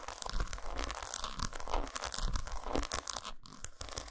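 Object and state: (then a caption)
Dark chocolate bar. Long nails scratch along the grooves and tap the squares of an unwrapped solid dark chocolate bar resting on a towel. It is a quick, continuous run of dry, crunchy scratches and short taps, with bright crackle over a soft low thud.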